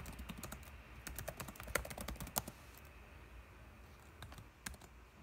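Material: Plastic.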